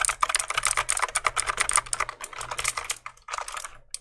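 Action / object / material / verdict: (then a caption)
tap / plastic mechanical keyboard keys / plastic / none. A full-size black plastic mechanical keyboard is held up close to the mic while fingertips press and click its keys. A rapid, uneven run of sharp, bright plastic clicks plays with almost no ring, broken by a brief pause before a softer final flurry. A faint low hum sits underneath.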